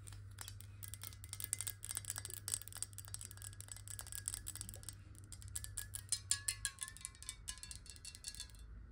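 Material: Glass.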